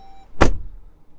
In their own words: good solid sound of that closure